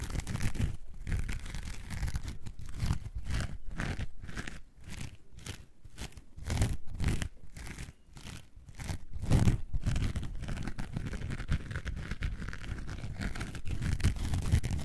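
A coarse orange foam sponge is gripped and scratched with long nails, close up, giving a dense, low, crunchy scratching with a faint tearing texture. In the middle of the clip the strokes turn into a steady rhythmic series of quick scrapes, then blur back into continuous scratching.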